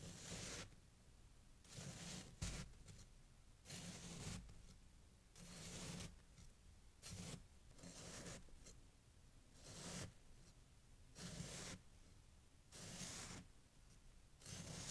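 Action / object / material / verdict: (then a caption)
scrape / pile of packed snow / snow / none. A loose pile of fresh, packed snow resting on a green towel is sliced and scraped with a steel kitchen knife while bare fingers hold it, beside a glass jar that stays untouched. Ten separate crunchy, bright scraping strokes come at an uneven pace, each a short gritty burst over a low rumble, with quiet pauses between them.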